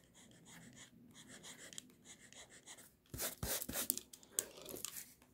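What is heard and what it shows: The tip of a pink mechanical pencil traces and scratches lines across a flat white sheet of drawing paper bearing a robe sketch. Soft, steady, papery scratching strokes give way after about three seconds to louder, brighter, sharper scratches with a high hiss.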